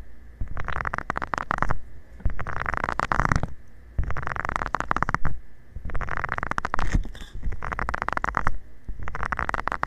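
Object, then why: Silicone scrubber pad with nubs. A covered fingertip rubs and taps across the small nubs of a flat, round, green silicone scrubber pad lying flat. The result is repeated bursts of dense, muffled scratching and crackling, separated by short pauses, with a heavy low rumble underneath.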